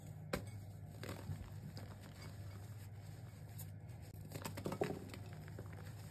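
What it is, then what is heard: Crumbling reformed gym chalk blocks. A bare hand squeezes and crumbles pink reformed gym chalk blocks (magnesium carbonate) with loose powder in a white bowl. The chunks are solid, soft and powdery, and they are crushed rather than tapped. Soft crunching and crinkling crumbles sit over a steady low hum, with brief sharper cracks scattered through.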